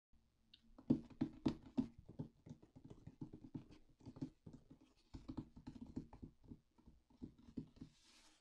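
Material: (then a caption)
Cardboard. Both hands tap and scratch the top of a closed, hollow, medium white corrugated cardboard mailer box with a yellow shipping label, using long black-painted nails and fingertips. Quiet, irregular, rapid taps give short hollow thuds mixed with dry scratching, with a few louder knocks near the start. A soft, bright rustle closes the clip.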